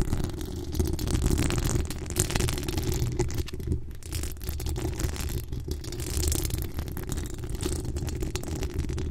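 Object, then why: Metal mesh microphone grille. Long decorated acrylic nails from both hands scratch the bare, hollow metal mesh dome grille of a Blue Yeti-style USB microphone with a decorated pink body. The result is a continuous, dense, low rumbling scrape heavy in the bass, with faint bright scratchy hiss flickering over it at a fairly steady level. Some faint background noise from neighbours may also be present.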